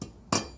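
Two taps on a concrete shop floor slab whose underlying voids were filled with injected foam: a soft tap, then a louder one, each a short dull thud centered low around 210 Hz with a brief bright edge that fades within about a tenth of a second. The taps sound solid rather than hollow, indicating the slab is now supported underneath.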